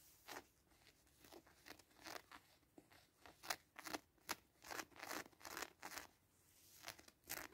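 Fingertips and short nails scratch the felt heart patch and the 'Me to You' label area on a small, soft, stuffed pink fleece cushion with a grey teddy appliqué. The result is a quiet, irregular string of short, dry, bright scratching bursts with almost no low end.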